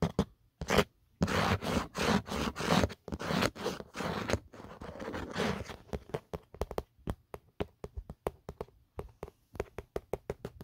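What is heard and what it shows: Fingertips and short nails scratch and rub the textured geometric inner surface of an empty, phone-sized black plastic/rubber phone case, a hollow shell with a camera cutout, then move to its smooth matte outer back. The first half is dense, bright, raspy scraping in long strokes. It gives way to a quicker, irregular run of short, dry clicking scratches with little ring.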